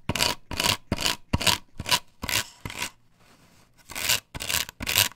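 Long pointed nails and fingertips scratch and rub over a large, flat plastic stencil with a patterned cut-out, glued onto a solid wooden board. Bright, raspy strokes come in quick bursts, with about nine separate passes visible and a near-silent pause in the middle. The scratches are sharp and dry with almost no ring.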